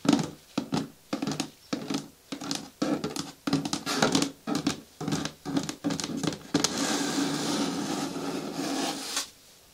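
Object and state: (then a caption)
Plastic bin with lid, nails tapped and scratched. Long nails tap and scratch the sides of a hollow, medium-hard green plastic bin with a lid. Short bursts of tapping and scratching with a hollow low-mid resonance give way to a longer, steady scratching stretch near the end, then fade to quiet.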